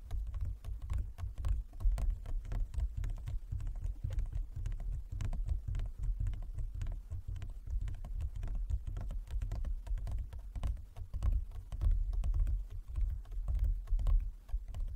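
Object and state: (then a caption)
Wooden chess board. Fast fingertip and long-nail tapping with both hands on a large, flat, inlaid wooden chess board. It makes a dense, continuous patter of short, dry clicks over a soft low thump, and each tap dies away almost at once.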